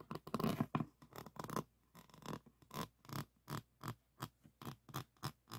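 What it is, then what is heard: Resin diamond painting board being scratched. Fingertips and thumbs rub and scratch across a resin-bead diamond painting on a board, making soft, dry rasping scrapes. A dense stretch of rubbing early on gives way to a steady series of separate short strokes, each with a brief scratchy burst and little ring.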